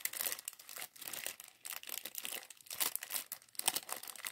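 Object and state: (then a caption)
Plastic bag of LEGO bricks. A small clear zip plastic bag full of LEGO plastic bricks from the LEGO Mindstorms mini bot set 40413 is held and shaken in both hands. Fingertips crinkle the film while the bricks rattle inside, making quiet, bright, papery crackles and quick clicks in uneven bursts with almost no low end.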